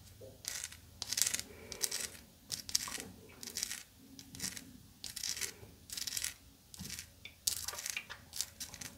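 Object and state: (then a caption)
Sugar crystal candy. A small solid chunk of rough, pink, crystallized sugar candy held in one hand is scratched and tapped with long blue acrylic nails. The result is bursts of bright, crisp, high-pitched scratching and clicking, with short dry taps and little low end.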